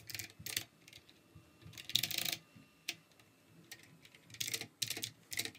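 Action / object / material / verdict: tap / plastic mechanical keyboard / plastic / none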